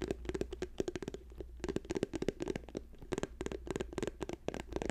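An orange plastic cosmetic squeeze tube with a white cap, held in both hands, is tapped rapidly by fingernails. The quick, dry clicking taps come in uneven bursts with a hollow plastic tone around 400 Hz and bright edges. The taps die away almost instantly over a faint low steady hum.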